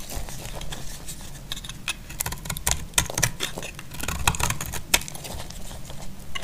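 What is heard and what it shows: A utility blade scrapes the faceted edges of a solid, dry, cream-white bar of soap. A quick run of short, crisp, bright scratches and ticks sounds over a steady low rumble, with each scrape stopping almost at once.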